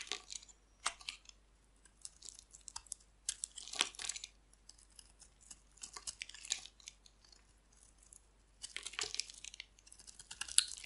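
A hand-sized, solid oval bar of dry green soap, held in the hand, is shaved with a metal utility blade, peeling off long curling flakes. Quiet, dry, bright scraping and crinkly tearing strokes come in repeated bursts, with crisp high-pitched crackle and almost no low end.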